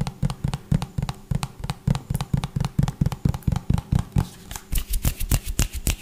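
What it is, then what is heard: Plastic pump bottle tapped. A medium-size white plastic hand wash pump bottle with a green label, hollow and likely partly full, is tapped fast with fingertips and nails. Rapid, dull, low hollow thuds with very short ring dominate, and in the last couple of seconds the taps turn sharper with bright nail clicks.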